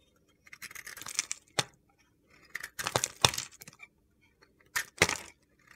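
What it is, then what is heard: Glitter-coated soap bar being carved. A utility knife blade carves a solid rectangular bar of white soap coated in black and purple glitter, breaking off flakes. Short, crisp, gritty scraping and crunching bursts come in irregular clusters with brief silences between, bright and high-pitched with little low end.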